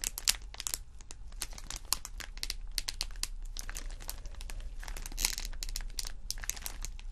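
A thin, textured purple holographic vinyl sheet lying flat is pressed and scratched with fingertips and nails. Rapid, bright crinkles and sharp scratchy clicks follow one another closely throughout, over a steady low hum.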